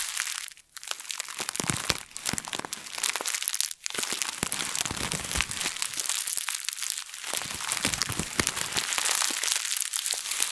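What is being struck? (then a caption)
Thin plastic bag. A thin plastic bag is balled up, squeezed and crumpled with both hands close to the microphone. Dense, bright crinkling and sharp crackles run almost continuously, with brief quiet dips near 0.7 and 3.8 seconds.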